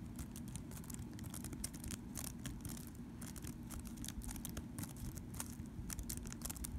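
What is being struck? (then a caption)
Plastic computer keyboard. Fingertips and short nails tap and type rapidly on the keys of a thin, hollow, black plastic compact wireless keyboard lying on a soft blanket. A dense, steady stream of quick, bright clicks rides over a low, constant rumble, with each tap dying away almost at once.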